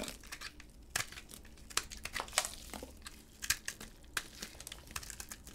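A utility blade scrapes flakes and chunks off a solid yellow and cream bar of dry, hard soap held in a gloved hand. The sound is a dry, crinkly scraping broken by sharp, bright crunches and clicks at irregular intervals, each one cutting off almost instantly.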